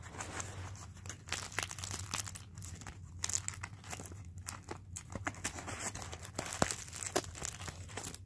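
A small, loosely crumpled ball of thin aluminium foil is held in both hands while the fingers squeeze, crinkle and rub it. The result is a continuous stream of bright, crackling crinkles with sharper bursts, over a faint steady low hum.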